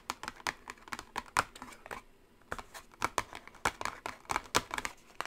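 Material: Cardboard.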